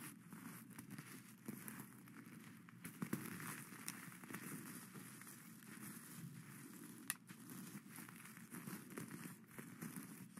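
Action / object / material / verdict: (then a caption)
scrape / sequin-covered fabric hat / sequins / none. Plastic skeleton-hand claws, held in both hands, scratch and rake across the green and black sequin-covered cone of a witch hat laid flat on its satin brim. The result is a steady, crackly rustle of sequins with occasional sharper clicks and bright scratchy edges.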